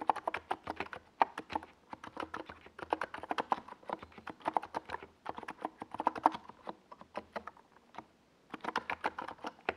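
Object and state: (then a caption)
Plastic mechanical keyboard with tall SA keycaps. Fingertips of both hands type on a NiZ Plum Atom 68, a compact 68-key mechanical keyboard with a white plastic case and tall purple and yellow Domikey Gas Attack SA plastic keycaps, resting on a desk pad. Quick bursts of short, dry, mid-pitched clacks with bright tops come in fast runs, each tap dying away almost at once. A brief silence near the end breaks the steady typing before it resumes.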